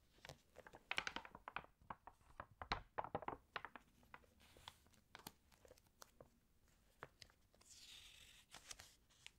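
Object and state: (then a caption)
Glossy paper magazine, pages handled. Long nails flip the pages of an open, water-damaged glossy fashion magazine, and fingertips smooth them flat. Quick, bright paper crinkles and sharp tapping clicks come in uneven bursts. Near the end, a soft, steady hiss of the page being smoothed is heard.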